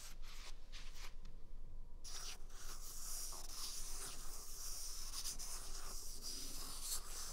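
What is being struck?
Paper toilet roll.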